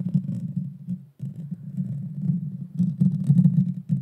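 Long dark fingernails scratch and tap the small, hollow, round metal mesh grille of a Blue Yeti Nano microphone. The result is a dense, low, boomy rumbling scrape with soft crackles on top, briefly dropping out just after one second. It then grows louder and busier toward the end.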